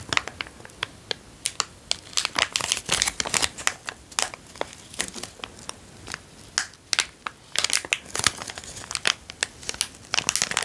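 A small, empty, transparent zip-lock plastic bag is held between the fingers and crinkled and squeezed with the fingertips. The result is dense, bright crackling and sharp crinkles in quick, uneven bursts, with almost no low end and no ring after each snap.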